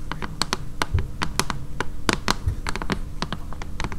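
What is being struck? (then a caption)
Glass-fronted picture frame. Long fingernails tap rapidly and irregularly on the glass front of a flat, blue picture frame holding a printed poster. The taps are short, sharp clicks with bright, glassy highs and almost no ring, over a steady low background hum.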